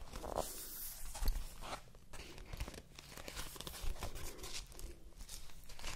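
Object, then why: Cardboard advent calendar. Fingertips and nails scratch and rub the surface of a large dark-blue cardboard advent calendar held beside the microphone, and its doors may be opened. Dry, continuous scratching and crinkling fill the clip, with sharper papery tearing bursts near the start and around the four-second mark. The cardboard sound stays close and soft overall, with a low rumbling undertone beneath the bright rustle.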